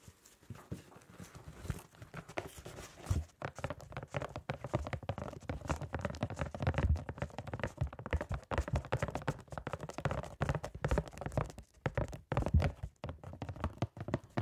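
A small, hollow, printed cardboard box of gloves is held close to the microphone and tapped with gloved fingertips. Fast, uneven, soft taps run continuously, producing dull, hollow, low thuds with a faint papery crinkle and little bright content. Each tap dies away quickly.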